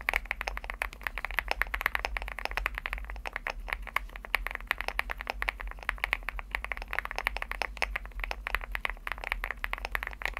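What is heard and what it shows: Fingertips type steadily on a Leobog Hi75 mechanical keyboard with a white aluminum case and pastel plastic keycaps. The result is a rapid, continuous run of short, dry clacks with bright upper-mid tones, each dying away almost instantly, over a faint steady low hum.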